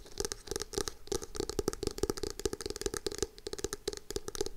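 Long acrylic nails tap and scratch the cover of a navy hardcover notebook with foil lettering, held upright in both hands. A rapid, uneven run of short clicky taps, each with a hollow knock near 400 Hz, mixes with bright, high scratching and no ring-out between strikes.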